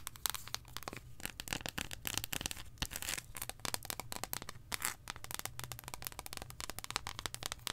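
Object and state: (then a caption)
Dark chocolate bar. A long, solid, embossed dark chocolate bar held in both hands is tapped and scratched with long acrylic nails. The result is a steady stream of quick, sharp clicks and crisp scratching with little ring.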